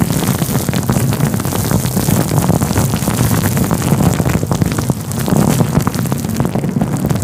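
A fluffy grey-white faux fur windscreen covering a microphone is rubbed and pinched with the fingertips. It makes a steady, dense, muffled rumbling rustle with a boomy low end and fine scratchy crackles, with a brief softer dip partway through.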